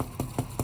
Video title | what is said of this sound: Ciabatta Demo | tap it that sounds hollow on the inside so it's good to go